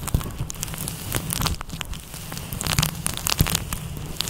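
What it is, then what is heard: Faux fur microphone windscreen being rubbed. Fingertips rub and scratch a fluffy grey-white synthetic faux fur windscreen over a microphone with a kneading motion. The result is a dense, crackling rustle of bright scratchy bursts over a steady low rumble, with a few sharper pops standing out.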